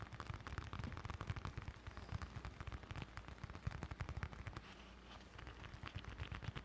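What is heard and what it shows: A small, closed brown leather bifold wallet with stitched edges, held in both hands in front of the mic, is tapped and scratched with fingertips and short nails. A rapid run of short, dry, thumpy taps sits mostly in the low end, with faint scratchy texture above. The taps ease into a quieter, softer stretch around five seconds before picking up again.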